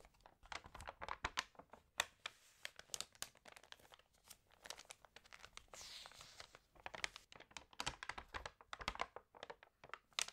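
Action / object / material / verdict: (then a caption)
scrape / glossy paper magazine pages / glossy paper / none. Hands lift and turn the pages of an open, water-damaged glossy-paper magazine, crinkling the paper. Dense, bright, sharp crackles and crinkles come in quick bursts, with a smoother, airy rustle of a page sliding over around six seconds. The sound is quiet and close.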